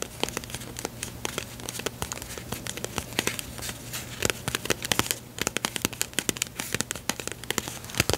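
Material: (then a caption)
Cardboard. A small, closed, yellow printed cardboard box of staples, likely full, is tapped and scratched with long pink nails. The result is a dense run of sharp, bright clicks and dry scratching crackles that stop instantly, over a faint steady low hum.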